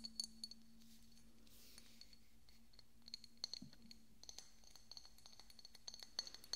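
A small, hollow, decorative pink glass bottle with a cork stopper is held next to the microphone and tapped and scratched with fingernails. Quick, bright glassy clicks and taps come in scattered clusters, each ringing at a high pitch and fading almost at once, with a soft scratch in between. A steady low hum runs underneath the whole time.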